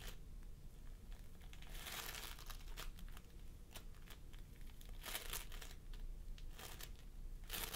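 Fingertips of both hands press and squish a pastel mound of floam sculpting foam made of polystyrene beads on a wooden table. The result is continuous soft crinkling and crackling, with bright bursts of popping beads over a low, steady rumble.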